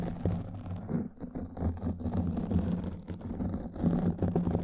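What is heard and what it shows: Long nails scratch across a black foam microphone windscreen, producing a continuous muffled, rumbling scrape. The sound is deep and bassy, centered low around 82 Hz with almost no bright content, and it swells and dips in loudness as the strokes continue.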